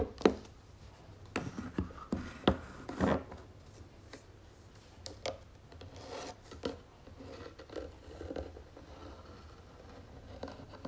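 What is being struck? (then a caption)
Small round wooden box. Long nails tap and scratch the wooden lid of a small round wooden jewelry box with gold trim and a drawer, held in both hands. Sharp, short taps come at irregular intervals between quieter scratchy rubbing, over a steady low hum.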